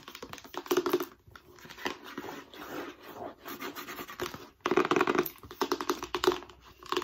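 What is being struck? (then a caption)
Rigid cardboard box. A long, narrow, white, hollow, rigid cardboard accessory box is held vertically while long nails scratch and tap along its surface. The result is a dense run of dry, papery scratches and quick hollow clicks with a mid-range boxy resonance. The sound swells into louder bursts and briefly goes quiet twice.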